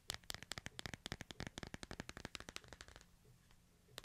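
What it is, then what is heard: Smartphone tapped with fingernails. A small handheld smartphone with a glass front and hard frame is held in tattooed hands and tapped with fingertips and nails on its screen and edges, close to the mic. There are 25 quick, dry, bright clicks in a fast, uneven run that thins out near the end, then a short pause and one final tap.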